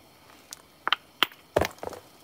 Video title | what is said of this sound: Flint knapping live | can you hear that changing as i'm tapping it